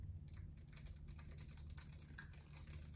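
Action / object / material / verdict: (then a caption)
tap / plastic computer keyboard / plastic / none. A slim white plastic computer keyboard is held in one hand while fingertips type on and press its keys. The result is a quiet run of soft, rapid clicks and taps with short bright transients, over a steady low hum that holds most of the energy.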